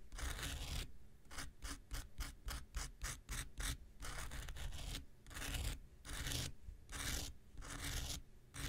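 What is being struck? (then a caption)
Foam nail buffer block. The tip of an X-Acto knife scratches a small, solid, rectangular pink foam nail buffer block. It makes a series of dry, bright rasping strokes with a low rumble underneath. The strokes come in quick, short bursts at first, then become longer, slower sweeps.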